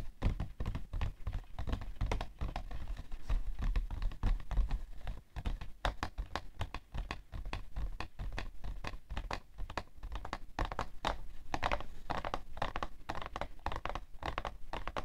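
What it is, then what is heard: Cardboard tissue box. Painted fingernails tap and scratch the top edge and side of a hollow, printed cardboard tissue box full of tissues, standing upright on white fur. Rapid, dense dry taps mix with scratchy rubbing, each click short and dull with a low, muffled body and little brightness.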